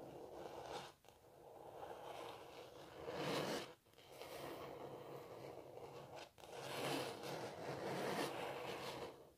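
Long natural nails scratch across the textured surface of a canvas painting of a cellist, its fabric stretched over a frame. Four sustained, dry, rasping passes swell and fade, separated by brief pauses, with a bright, airy hiss over a mid-range scraping texture.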